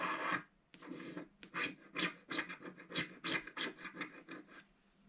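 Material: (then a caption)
Coated paper. A wooden stylus scratches the lower petals of a design into a black-coated scratch-art card in a book. About 14 short, quiet, dry rasping strokes come in an uneven rhythm, each a bright, papery scrape with little low end and almost no ring, separated by brief near-silences.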